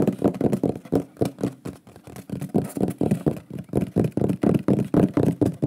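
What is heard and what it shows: Fingertips and nails rapidly tap and knock on a large, flat, solid wooden shield-shaped pyrography plaque with a burned lion image, held in both hands. About 29 short, dull, hollow knocks sit mostly in the low-mid range with almost no high content. They die away almost instantly and come in an uneven flurry of roughly four per second.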